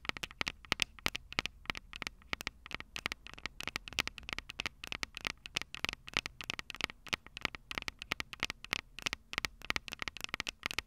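Long purple nails tap continuously on the metal X/Y microphone capsules of a Tascam DR-05 recorder. A rapid, irregular stream of sharp, dry clicks sounds bright and crackly, centered around 2.6 kHz with little low end. Each tap dies away almost instantly over a faint hiss.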